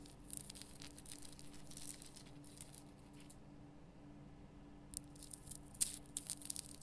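Long fingernails scratch the rough crystal surface of a large pink Himalayan rock salt lamp, making dense, bright gritty scrapes and crackles over a steady low hum. The scratching pauses briefly around the middle, then returns with a few sharper, louder scrapes.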